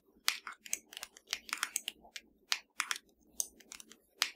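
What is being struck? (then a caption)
Plastic TV remote control. A slim, hollow black plastic Fire TV remote lying flat is tapped with the long dark nails of both hands. About nineteen quick, dry, bright clicks come in an uneven rhythm, each dying away almost instantly with no ring.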